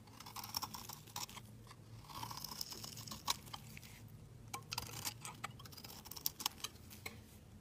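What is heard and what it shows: A hand-held solid pink embossed soap bar is shaved into curls with a steel snap-off utility blade. The clip is full of crisp, bright scraping and crunchy cutting sounds, with short sharp transients that stop quickly, over a soft low background hum.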